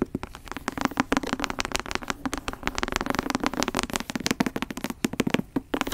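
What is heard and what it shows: Long acrylic nails and fingertips tap and scratch the brown leather cover and gilt spine of a thick antique book, held first horizontally and then upright. The result is a rapid, dense stream of short, dry clicks and taps with a crackly scratching texture and almost no ring.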